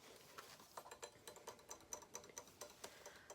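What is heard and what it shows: A quick, uneven run of soft taps, each a brief high tick that dies away at once. The sound is crisp and thin rather than booming, like nails tapping a stiff surface. Faint room hiss sits underneath.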